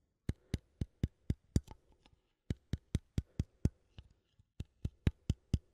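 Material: Metal.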